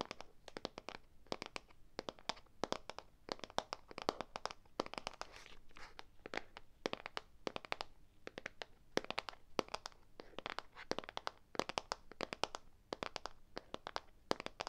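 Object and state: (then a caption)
Plastic tub of play sand. A small clear plastic tub with a pink label, filled with play sand, is held close in one hand and handled on its lid, possibly tapped or scratched with long nails or fingertips. A rapid, irregular stream of sharp, dry clicks and crinkly taps with bright highs continues throughout, each hit dying away almost instantly.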